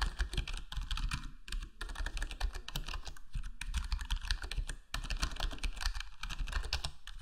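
Fingertips of both hands type steadily on a full-size black plastic HyperX Alloy Core gaming keyboard with square plastic keycaps and a foam-modded, foam-dampened case. A dense, continuous run of short, muted key taps and clacks is heard, deep and thumpy with brief bright clicks that die away almost instantly.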